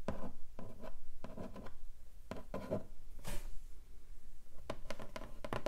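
Long nails scratch along the lid of a long, flat, hollow pink cardboard keyboard box. The result is a run of short, dry scraping strokes with a low, hollow resonance underneath. Brief bright hissy swipes come in between.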